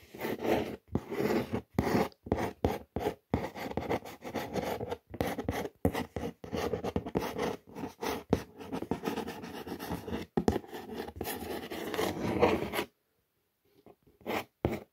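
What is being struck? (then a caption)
Corrugated cardboard box. Long nails scratch and trace the Chinese and English print on the surface of a brown corrugated cardboard shoe box. Dense, dry rasping strokes with short pauses between them run for about 13 seconds, then fall silent. A few faint scratches follow at the end.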